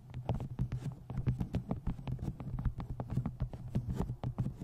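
Rapid, dull fingernail taps and scratches on a paperback, with a soft low thump under each one.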